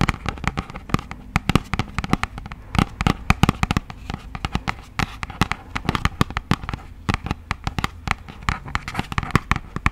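Long acrylic nails rapidly tap and scratch a hollow, yellow printed thin cardboard product box. The result is a dense, irregular stream of short, dry clicks with hollow low thumps, separated by soft scratchy rustling. The hits die away almost instantly.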